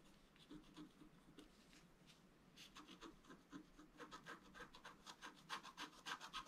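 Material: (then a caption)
Coated paper. A wooden stylus rubs and scrapes across a flat black coated scratch art paper board in quick, fairly regular strokes, roughly three to four per second. Soft, faint rubbing at first gives way to louder, brighter scratchy strokes with a dry, high hiss that stop short with no ring.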